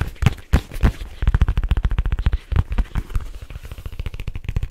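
A black leather case held upright is tapped quickly with fingertips and scratched with fingernails along its surface and edges. The result is a fast, irregular run of dull, low thuds with a few heavier knocks and short, dry scrapes between them.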